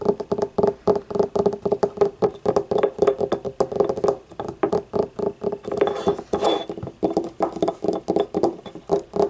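Long painted nails tap rapidly on the outer wall and rim of a small, hollow, yellow, ribbed, glazed ceramic paint cup that stands upright and empty. The taps are quick, dry clicks with a hollow tone centred near 400 Hz, and each fades almost instantly. A brief brighter, rougher stretch appears partway through.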